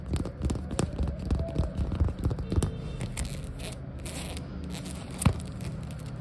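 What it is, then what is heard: Rubber flip-flop. Long acrylic nails rapidly tap and scratch the patterned foam/rubber sole of a flip-flop lying flat and pluck its tan rubber strap. The result is a dense run of dull, low, short clicks and scraping rustles, busier in the first half and trailing into softer scratching, with one sharper tap near the end.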